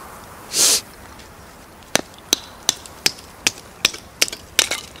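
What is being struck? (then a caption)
Pine kindling stick struck with a small hatchet. A gloved hand swings a small hatchet to chop and split a solid, dry pine kindling stick beside a pile of light softwood kindling on gravel. After a brief breathy hiss, a steady run of sharp, bright, dry wooden knocks follows, each cracking and dying away almost instantly.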